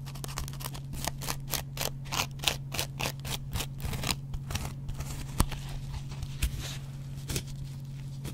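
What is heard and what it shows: A double-edged metal razor blade scratches the yellow cellulose foam edge of a dry, hand-sized kitchen sponge with a green scrub layer. Quick, rhythmic, bright rasping strokes come in a fast run, then thin out into sparser, uneven scrapes. A steady low hum runs underneath throughout.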